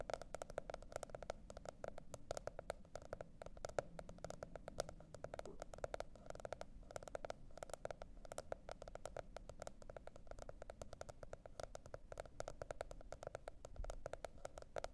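Long red nails rapidly tap and scratch the printed monkey-pattern cardboard hardcover of a teal spiral-bound notebook. The result is a quiet, steady stream of dry, clicky taps with a hollow mid-range tone around 570 Hz, each dying away almost instantly, over a faint low rumble.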